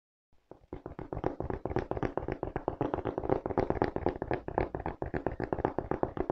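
Fingertips and nails tap rapidly on the treaded white rubber outsole of a black leather velcro sneaker held in both hands. A quick, uneven stream of short, dry taps starts softly and grows steadier, each one a dull, woody knock that stops almost at once.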